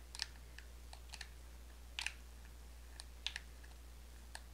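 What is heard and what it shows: A small orange plastic lotion bottle with a black cap, hollow with contents inside, is tapped and scratched with long acrylic nails while being turned in the hands. Short, dry, bright clicks and taps come in scattered clusters, each stopping almost at once, over a quiet, steady low hum.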